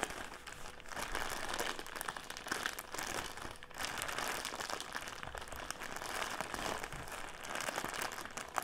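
Fingertips and nails squeeze and crinkle a clear plastic drawstring bag filled with round cotton pads, standing upright on a table. The result is a steady, dense plastic crinkling full of tiny crackles and bright hiss, with a brief lull just before the four-second mark.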